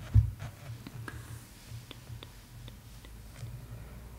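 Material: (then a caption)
Paper. Long acrylic nails trace, scratch lightly and tap on the glossy printed paper of a large hardcover art book lying open on a full-page painting spread. The sound is quiet and soft, with faint papery scratching and a few light, dull taps, the first near the start standing out slightly louder.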